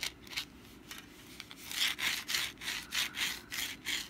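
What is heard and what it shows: A hand-sized, rust-brown papier-mâché pumpkin decoration is held in the hand while long black nails scratch its textured surface back and forth. The result is a dry, bright scratching that starts faint and sparse, then grows into louder, rhythmic strokes in the second half.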